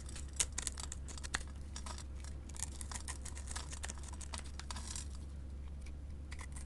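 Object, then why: Glitter soap bar. A small, solid white soap bar with silver glitter is held in the hand and scraped with a metal blade into crumbly flakes. The scraping makes a quick run of dry, bright, crackly strokes, with a few sharper snaps near the start, over a steady low hum.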